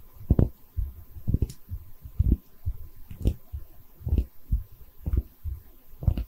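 A small cream-colored, hollow, textured porcelain liquor bottle is held in both hands while long red nails tap and scratch its body. The result is a loose, uneven series of dull, low thumping taps with almost no ring, some carrying a brief bright scratchy click, over a quiet background.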